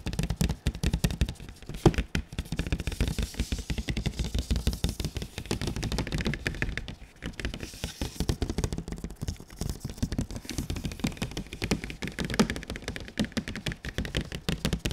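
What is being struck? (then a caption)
Printed cardboard box. Fingertips of a bare hand and a gloved hand tap rapidly on a large, glossy, printed cardboard console box held up in front. The result is a dense, continuous stream of short, dull, low-pitched knocks with a papery edge. The taps stop almost instantly with no ring.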